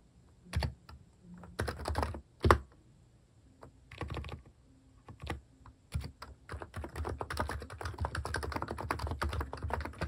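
Fingertips type on a compact Hanmumu electro-capacitive keyboard fitted with plastic cat keycaps. Scattered bursts of soft, deep keystrokes with short pauses give way to a steady run of rapid typing in the second half. The clacks are muted and thocky, with little high-end sparkle.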